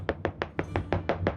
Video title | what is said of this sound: On visite ensemble une cave d'affinage d'un fromage exceptionnel (calendrier des fromages: jour 19) | ça résonne bien quand ils sont l'un sur l'autre